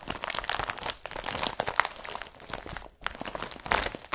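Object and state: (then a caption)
Woven polypropylene carrier bag. An empty blue IKEA BRATTBY woven polypropylene carrier bag is pressed and rubbed with the fingers. It gives dense, bright crinkling and crunching with quick crackles, easing briefly near the one- and three-second marks before picking up again.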